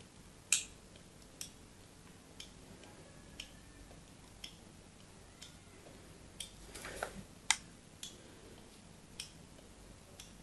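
A solid white bar of soap is held upright while a small metal knife scrapes and cuts thin shavings from its plain side in repeated strokes. Eleven short, bright, crisp scratching clicks sound at fairly even intervals against a quiet background, with a slightly longer rasping scrape near the middle.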